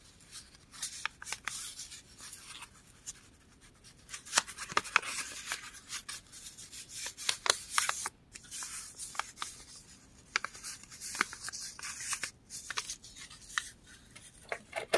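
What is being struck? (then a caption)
Thin printed paper page. A flat, solid torn strip of thin printed book page is crumpled, scrunched and rubbed between the fingertips of both hands, then pressed flat on a table. The sound is a quiet, bright, dry crackle and rustle with many sharp crinkly snaps over a soft hissing texture, with almost no low end.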